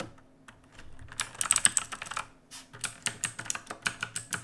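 Both hands type with their fingertips on an RGB-lit black mechanical keyboard with plastic keycaps, resting on a wooden desk. A quiet start gives way to a rapid run of sharp, bright clicks and clacks with very short decay. A brief pause follows, then steadier, evenly spaced keystrokes.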